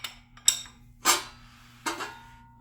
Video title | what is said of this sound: Episode 37: Final Assembly - Windage Tray Installation on my 5.3L LC9 Engine Rebuild | that noise is the connecting rods tapping the windage tray